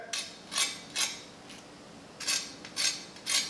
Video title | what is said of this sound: Hoop-de-doo Fried Chicken | That's how crispy it is.